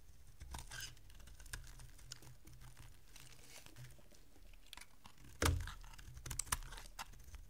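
A solid, dry, oval bar of green soap is held in the hand and carved and scraped with a small metal blade, sending crumbly flakes falling. Quiet, dry scraping and crackling run throughout over a low hum, with a sharper, louder crack about two-thirds of the way in, followed by a few brief bright snaps.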